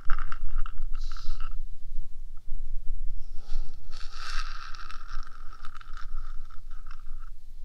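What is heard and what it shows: Long nails on both hands scratch and tap the top surface of the small hollow rectangular metal box body of a 3Dio binaural microphone. Continuous scraping with a steady tone near 1.3 kHz and bright hiss bursts runs throughout, with light irregular taps over a low rumble.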